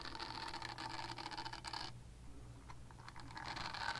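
Long nails scratch across a purple silicone body scrubber, making dense, rapid, bright scratching and rasping against a steady low hum. The scratching stops abruptly just before two seconds, leaving a quieter stretch with a few faint scrapes, then builds back up toward the end.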